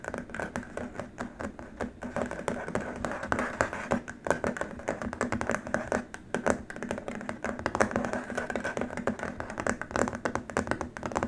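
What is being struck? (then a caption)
Rigid plastic keyboard wrist rest. Fingertips of both hands tap rapidly and scratch across a long, flat, white rigid plastic keyboard wrist rest. The result is a dense, continuous stream of short, dry plastic clicks with a hollow midrange tone and almost no ring after each hit.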